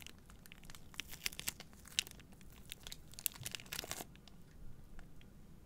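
Long nails crinkle and scratch the clear plastic wrap around a bundle of three white cardboard deodorant boxes held close to the mic. Bright, crackly crinkles and sharp scratchy snaps come in quick bursts, busiest in the middle. They then thin out to softer, sparser rustling near the end.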